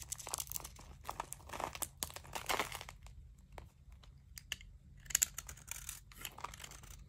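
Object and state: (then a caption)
Dry bar soap being scraped. A small knife scrapes thick, crunchy curls off the face of a dry Zest bar soap with a green painted edge, held in the hand and steadied by long dark-painted nails. Bright, dry crackling and crunching scrapes come in quick bursts over a faint low hum, easing off in the middle before a sharper, louder crunch returns.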